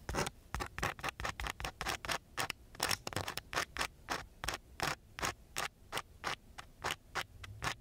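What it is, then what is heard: Sandpaper sheet. A gloved hand scratches the grit of a coarse brown sandpaper sheet with the tip of a wooden stick. It makes 29 short, separate rasping strokes in a steady rhythm, each a bright, gritty scrape with quick silences between.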